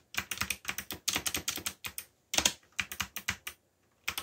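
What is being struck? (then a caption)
Plastic mechanical keyboard. Fingertips type on a backlit black plastic mechanical keyboard, producing bursts of sharp, bright clicky keystrokes with brief pauses between runs. About two dozen quick taps, each dry and short with almost no low end.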